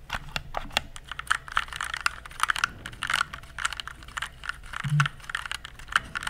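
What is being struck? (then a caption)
Plastic mechanical computer keyboard. Fingertips press and type on the plastic keycaps of an RGB-backlit mechanical computer keyboard held upright in both hands. A quick, irregular run of many sharp, clicky taps rings bright around the mid-highs, each dying away almost instantly, with a soft low thump near the fifth second.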